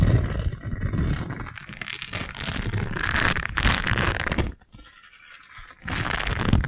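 A single round, yellow silicone scrub pad with short bristles, thin and flexible, is bent and scratched with long nails and fingertips. This makes a dense, continuous rustling scrape with a heavy low rumble and gritty crackle. The sound drops to near silence for about a second before the scratching resumes.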